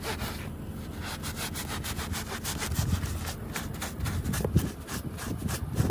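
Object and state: Woven fabric rug being scrubbed.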